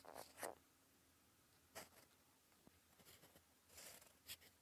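The gold metal nib of a fountain pen, held in fingers, scratches cursive onto a flat sheet of cream lined paper resting on a desk. Short, bright, scratchy strokes come in brief bursts separated by quiet pauses, with a faint tick in between.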